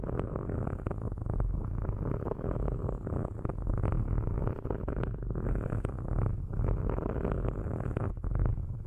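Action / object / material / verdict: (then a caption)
scrape / metal microphone grille scratched with metal sticks / metal / none. Metal sticks are lifted and scratched across the metal grilles of two microphones, making a continuous low, rumbling scrape. Dense grainy scratching with many quick ticks sits mostly in the low range with a purr-like texture, and the level stays steady throughout.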